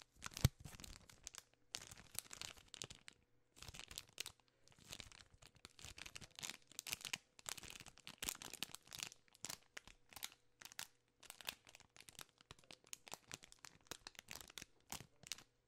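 A full Crunch bar in a plastic film wrapper is crinkled in both hands with long nails. Bursts of dry, bright crackling and crunching rustle come in uneven clusters with brief pauses between them. A faint low steady hum sits underneath.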